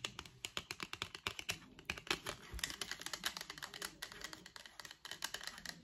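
Long acrylic nails tap the face and flick the edge of a thin, solid, flat printed white cardboard packaging card with a barcode. The result is a rapid, uneven run of crisp, dry clicks, bright and high with little low end, each dying away almost at once.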